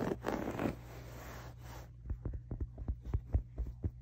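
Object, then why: Waffle-weave fabric pillow. Fingers and nails scratch and rub the textured cover of a soft, stuffed grey waffle-weave fabric pillow. A continuous rough, hissy rubbing opens the clip, then gives way to a loose, irregular run of quick, short scratches, all over a steady low hum.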